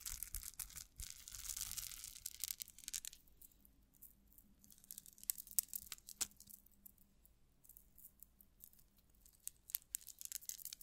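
A small dangling metal cup-chain tassel set with rhinestones and solid links, held by its top, is stroked and jiggled with long acrylic nails close to the microphone. It gives soft, bright rattling and scratching with a hissy rustle early on, then scattered sharp little clicks and jingles over quiet gaps.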